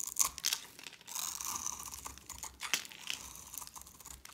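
A hand-sized oval bar of dry grey soap, held in a hand with long red-painted nails, is shaved and scratched with a metal blade. The strokes make bright, crisp scraping and crunching sounds with almost no low end, as flakes crumble off the bar.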